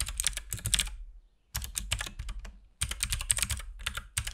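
A compact RGB-backlit mechanical keyboard with plastic keycaps and a hollow case is typed on continuously with the fingertips of both hands. Bursts of quick, clacky key presses carry a bright top and a hollow low thump. The bursts are separated by short pauses of silence.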